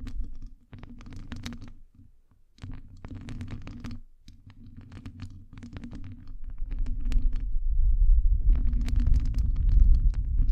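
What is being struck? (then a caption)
Metal wire-mesh microphone grille. Long nails scratch the sides and top of a hollow metal wire-mesh microphone grille. Dense, rapid scratchy rasps with a heavy low rumble come in bursts with brief pauses, and faint bright ticks sit above them. The scratching grows louder and fuller toward the end.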